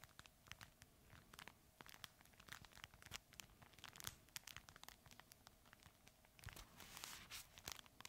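A red fabric plush crinkle toy is held in both hands and squeezed and crinkled with the fingers. Dense, bright crackles and sharp crinkling snaps come in quick, irregular bursts over a soft, steady hiss. The sound swells into a louder stretch of rustling near the end.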